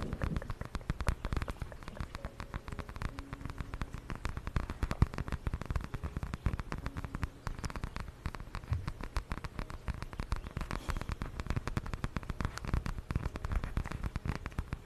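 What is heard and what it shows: Long nails scratch and tap a small, flat purple patterned fabric zip pouch held close to the mic. The result is a dense, continuous patter of soft, dry crackles and taps throughout, weighted toward a low, muffled thump with little high-end brightness.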